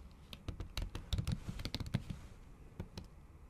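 Long acrylic nails and fingertips type on a MacBook keyboard under a pink silicone cover. Soft, muffled, low-heavy taps come in an uneven, quick rhythm, with sharp, bright clicks where the nails strike. Each tap is dry and stops almost at once.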